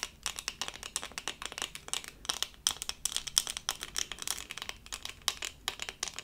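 A small, flat, doll-shaped diamond-painting sticker covered in resin rhinestones on a thin, solid plastic backing is held in both hands and scratched with long acrylic nails. The result is a rapid run of dry, bright, crisp clicks and scrapes with almost no low end and no ring.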